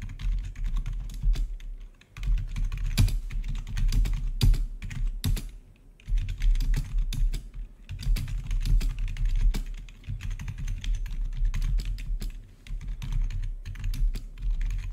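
Both hands' fingertips type rapidly on a full-size black plastic membrane-style gaming keyboard with blue-to-red RGB backlit keys. The result is a steady stream of soft, clattering keystrokes with a deep thumpy body and short bright clicks. The typing pauses briefly a few times before resuming.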